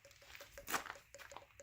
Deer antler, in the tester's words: they do. They sound hollow.